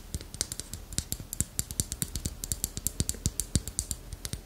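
A small, solid, dark-brown carved wooden armadillo figurine with a ridged shell is held in the hand and tapped and scratched with long acrylic nails. The result is a quick, steady run of short, dry clicks with a bright, crisp top and a soft low knock beneath each one, every tap dying away almost at once.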